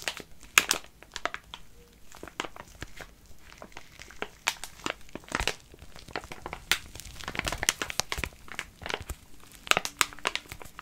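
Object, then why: Soft plastic wet wipes pouch. A full soft plastic pouch of wet wipes is held in both hands while fingers crinkle and squeeze it and nails scratch its film. The result is dense, bright crinkling with many short, sharp crackles that die away almost instantly, carrying very little low end.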